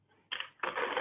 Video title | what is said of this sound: Breadmaking class | you see how gorgeous and crusty that is and you can still hear the tapping today